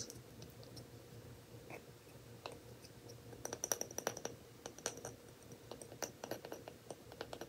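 Fingers tap and scratch on the lid of a glass jar whose glass is not brown, giving many quick, sharp, bright clicks with faint scratchy sounds between them. A low, steady hum runs quietly underneath throughout.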